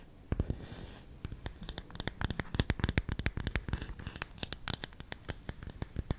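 Fingernails scratch and tap the lid of a round, hollow, lidded bamboo canister engraved "SALT." A rapid, irregular series of short, dry taps mixes with scratchy rustling. Each tap gives a dull, low, hollow knock with a bright click on top and dies away almost at once.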